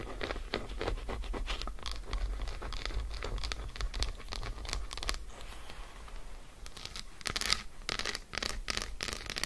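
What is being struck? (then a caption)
Dark chocolate bar. Long acrylic nails scratch and tap quickly on an unwrapped solid Lindt dark chocolate bar resting on faux fur. The result is a dense run of short, dry, bright clicks and scratchy strokes with no ring, over a steady low rumble.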